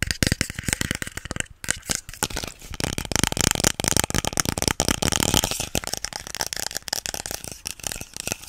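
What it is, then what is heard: Plastic spray bottle. A hollow pink plastic spray bottle with a white nozzle, held in both hands, is tapped and scratched with fingernails. The sound is a fast, dense run of dry clicks, taps and scratchy rasps with no ring, with a brief pause around one and a half seconds.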